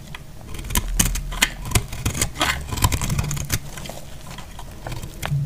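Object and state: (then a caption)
Dry soap bar. A hand-held solid bar of dried lilac-and-white marbled soap is cut and scraped with a box-cutter blade, flaking off crisp shavings. A rapid series of short, dry, bright cracks and scrapes sounds over a low rumble, each snap dying away almost at once.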